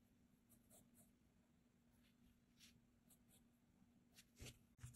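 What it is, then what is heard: Pencil sketching on a paper page. A blue mechanical graphite pencil scratches short strokes across a flat cream paper sketchbook page, held down by the other hand, while sketching a figure. Soft, bright scratching bursts sit over a steady low hum, and two louder, duller knocks land near the end.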